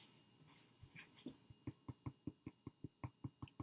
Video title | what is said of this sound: Rye Sourdough Bread | you want it to be a hollow sound